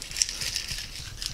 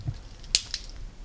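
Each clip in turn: First: A busy high-pitched rattle of grit clicking inside a jar, marking sandy soil heavy with gravel. Second: Two faint, short high clicks as a jar of muddy water is shaken: just a grain or two of grit inside.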